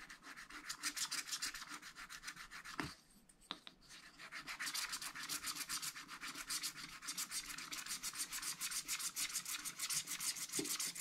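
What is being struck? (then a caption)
Wax-coated scratch-art paper pad scratched with a wooden stylus. A wooden stylus rubs and scratches fast back and forth across a spiral, wax-coated scratch-art paper pad lying flat, clearing the black coating in the sky area. Rapid, bright, dry rasping strokes repeat at about three per second. They pause briefly around the third second with a couple of small ticks, then resume steadily to the end.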